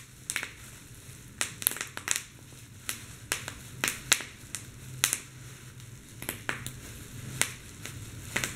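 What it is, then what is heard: Popping plastic bubble wrap. Fingers with blue nails pinch and squeeze the air-filled bubbles on a large sheet of clear plastic bubble wrap, popping them one after another. Around twenty sharp, bright snaps ring out at irregular intervals, each dying away almost instantly over a faint low background hum.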